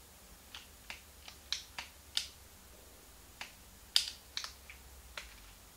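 A small, hollow, translucent pink plastic Game Boy Advance is held in both hands while thumbs and fingertips click its plastic buttons. Sharp, bright plastic clicks come at irregular intervals, each dying away almost at once over a faint, steady background hiss.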